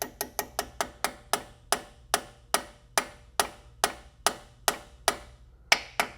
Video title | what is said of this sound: Toyota Supra A90 Girodisc and CSG Install | tell right away when that's seated